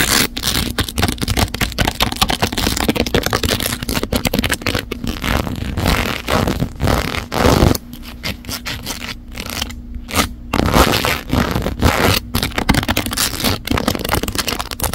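A large phone in a case fully covered in gradient rhinestones sits in a mount while long neon nails rapidly scratch and tap along its edges and sparkly surface. The dense, fast scraping and clicking runs almost nonstop with a bright gritty texture over a low hum, easing briefly near the middle before picking back up.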